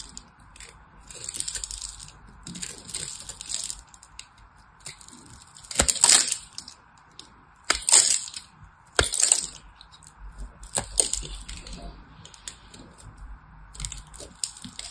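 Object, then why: Solid soap bar. A corner of a solid white soap bar, held in the hand, is carved into flakes with a small knife, producing crisp, bright scraping and crunching. Several sharper, louder crackling bursts stand out, and a faint steady mid-range hum runs underneath throughout.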